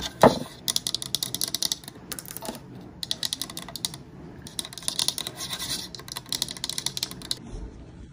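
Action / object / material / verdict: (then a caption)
scrape / painted wooden layered sign / wood / none. Long nails scratch and tap across the lettered surface of a painted wooden layered "Welcome My Pretties" sign made of solid flat boards. Bursts of bright, high scratching alternate with quick, dry taps that stop almost at once, with a louder knock near the start.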